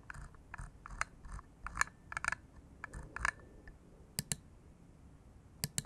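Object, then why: Bamboo wood computer mouse. An index finger repeatedly clicks the button of a small hollow bamboo wood computer mouse resting on a cork mat. The result is a series of short, dry, woody clicks with a hollow tone around 1.7 kHz and bright transient edges. They come in irregular clusters and quieter taps over a soft background hiss.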